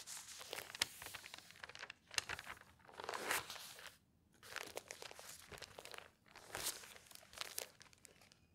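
Thin newsprint pages of an open newspaper, including a puzzle page, are flipped and smoothed by fingertips and long nails. The result is bright, crinkly rustling that comes in bursts, with sharp crisp snaps at the page turns and short quiet gaps between.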